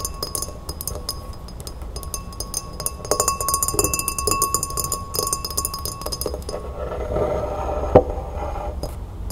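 A tall, empty, clear glass pilsner-style glass standing on a wooden table is tapped rapidly with long red-painted fingernails. The result is a dense stream of light, bright clinks over a faint steady ringing tone, with the taps getting busier in the middle. Near the end, one sharper, louder tap stands out.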